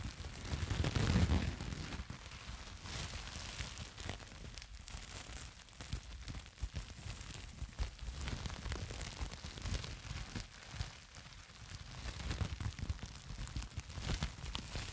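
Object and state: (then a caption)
Plastic bubble wrap. A sheet of plastic bubble wrap is scrunched and squeezed in the hands right next to the mic, worked with the fingertips and long nails. The result is dense, continuous crinkling and crackling with bright rustle over a heavy low handling rumble, loudest in an early burst before settling into steady, uneven waves of crackle.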